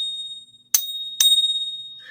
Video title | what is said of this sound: Why Bitcoin can't be sound money #silver #gold #preciousmetals | that pitch that you hear carries for a long time. And if it's a base metal, it won't have that same ring to it.